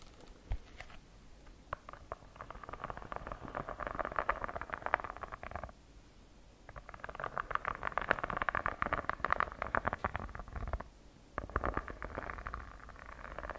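Long nails scratch and tap the cover and edges of a purple notebook with a textured faux-leather cover, held upright. Dense, raspy scratching sits in the mid range around 1 kHz with scattered sharp taps. It comes in three bursts separated by brief quiet pauses.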